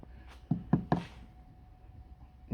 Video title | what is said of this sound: Toyota Auris SR180 Sill Repair MOT Welding | She's well and truly gone under there. Really soft.